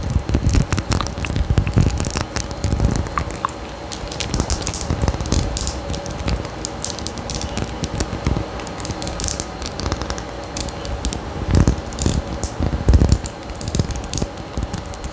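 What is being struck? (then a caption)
Small faceted glass perfume bottle. Long nails scratch and tap a small faceted glass perfume bottle with a gold cap and pink tassel, held close to the mic. The result is a steady, dense crackle of fine scratching with bright high glints and soft low thumps. A few sharper, louder taps stand out near the end.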